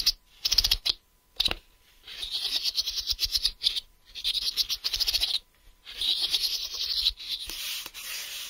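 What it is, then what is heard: Plastic case tapped and scratched. A hollow, smoky-grey translucent plastic case lies flat, held with both hands, while fingertips and nails rub, tap and scratch across its flat face. Bursts of bright, high, dry scratching alternate with quick clicky taps, with almost no low end and no ring after each contact. Short silent gaps separate the bursts of crisp, hissy friction on the plastic.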